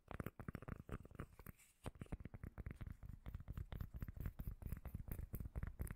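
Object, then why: Small round cork lid. A small, solid, round cork lid is held close to the microphone and scratched and tapped with long nails. Fast, irregular, deep, bassy thuds mix with soft scratching, with a brief lull partway through before the tapping picks up again. The sound is muffled and low, with almost no bright edge.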